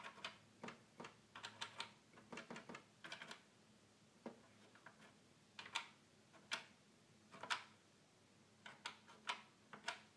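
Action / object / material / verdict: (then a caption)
tap / plastic toy keyboard buttons / plastic / none. A fingertip taps and presses the small plastic buttons on the top panel of a hollow red plastic toy keyboard. Quiet, short, bright clicks come in irregular bursts and single taps with almost no ring, over a faint low hum.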